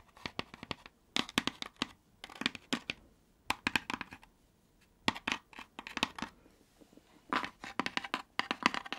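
A hollow, thin-walled laser-cut wooden fretwork lantern box is held in the hand and turned while long nails scratch and tap its panels. The result is clusters of dry, bright scratching and quick clicking taps that die away almost instantly, separated by brief quiet pauses.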